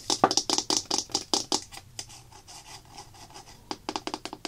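Long black-painted nails scratch and tap along the labeled side of a medium-size white plastic craft glue bottle with a flip cap, likely full, held in the hand. Fifteen quick, bright, hollow plastic taps come in an uneven rhythm, with a stretch of softer scratching and rubbing in the middle before a final burst of taps.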